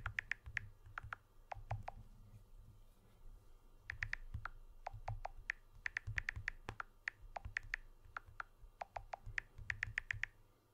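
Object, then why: Smartphone with glass back and aluminium frame. Fingertips and nails tap the aluminium frame edge of a blue smartphone with a glass back, held edge-on. Quick, dry clicks with a bright, pitched tick come in bursts with short pauses, over a low rumble underneath.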